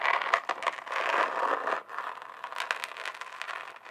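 Long acrylic nails scratch and tap the chunky glitter surface of a flat rectangular notebook or folder held up in one hand. The result is a dense, gritty scraping and crackling centered in the midrange, with quick bright clicks from the taps. A steadier scratching swell fills the first half before a brief pause just before the two-second mark, then lighter, more scattered taps and scratches follow.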